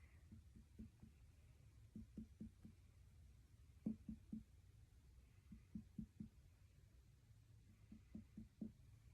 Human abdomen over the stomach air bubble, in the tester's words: sounds Hollow all the way across which is normal